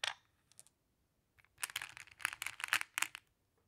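Fingertips with long nails pick up and sort small, solid, flat glass pebbles in mixed colors from a large pile in a round wooden tray, clicking them against each other. A few sparse, bright clicks at the start give way to a dense run of sharp, high clinks that die out almost instantly, then quiet.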